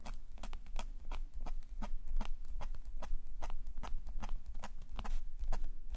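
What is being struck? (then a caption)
Metal nib pen on a thin paper sketchbook page. A metal calligraphy nib pen, held in a gloved hand, scratches ink lines across a thin black paper page of a sketchbook lying flat on a table. The result is a steady run of quick, dry, bright scratches and ticks over a low, constant hum.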